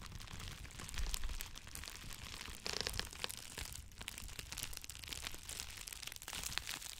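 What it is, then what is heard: Plastic bubble wrap. Two clear plastic bubble wrap cones are squeezed and crinkled in both hands close to the microphone, giving a steady run of dense, bright crackling and crunching with sharp snaps that may be bubbles popping. Low rumbling handling noise sits underneath throughout.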